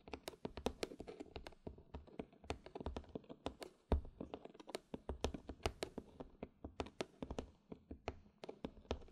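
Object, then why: Small cardboard gift box. Long dark-red pointed nails tap and scratch the lid and sides of a small, closed, hollow white cardboard gift box topped with a red satin ribbon and a large black button. Dozens of quick, dry clicks land in an uneven stream, each with a low, hollow thump from the box that dies away almost at once, with faint scratching between the taps.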